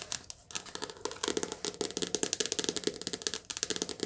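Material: Card.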